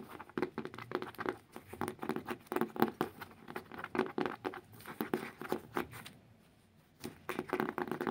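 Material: Cardboard.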